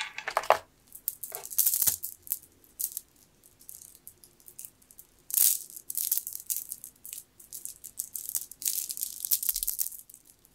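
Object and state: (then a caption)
Jade bead necklace. A long strand of solid, round green jade beads is held in the hands, shaken and rolled through the fingers. The beads clack and rattle against each other in bright, crisp bursts, louder near the start and around the middle, with quieter clicking in between.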